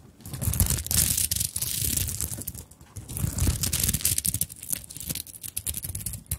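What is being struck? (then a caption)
Fabric handbag covered in sequins and beads. Long nails scratch across the sequined top of a small fabric handbag covered in sequins and beads. The result is a rapid, uneven stream of crisp, bright crinkling and scraping with soft low thumps underneath. It swells and dips in bursts throughout.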